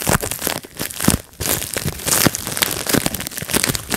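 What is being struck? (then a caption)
Plastic bubble wrap sheet. Fingertips pinch and pop the air bubbles on a clear plastic bubble wrap sheet resting on a lap. Sharp, bright pops come in quick, uneven bursts over a steady crinkling rustle of the plastic, with a brief quieter pause partway through.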